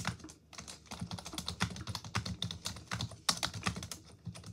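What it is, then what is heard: Plastic computer keyboard being typed on. A full-size black plastic desktop keyboard on a desk is typed on continuously with long pink acrylic nails and fingertips. Rapid, hollow clicking keystrokes run throughout with bright, sharp taps and a light low thump under each press.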